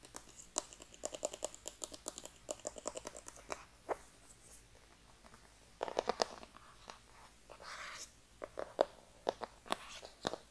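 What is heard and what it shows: Long dark-painted nails tap and scratch a small, hollow, black rigid cardboard iPhone box held close to the microphone. Quick, dry, hollow clicking taps with a bright edge come in rapid bursts, broken by a quiet stretch in the middle and a brief rasping scratch. Each tap stops almost instantly, with no ring.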